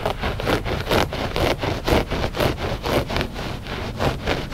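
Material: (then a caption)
Textile. Short fingernails scratch a flat gray loop-pile textile rug that is solid and soft. The result is a steady series of dry, rasping scratch strokes, about two per second, each a soft broadband swish with a low rumble underneath and a faint bright hiss.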